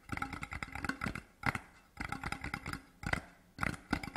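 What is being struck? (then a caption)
Cardboard gift tube. Fingertips tap quickly on both sides of a large, hollow, printed cardboard Deveron whisky gift tube with a grey-blue design, lying horizontally on dark cloth. The dry, hollow knocks come in rapid bursts separated by short pauses, each tap dying away almost at once with a bright, papery edge.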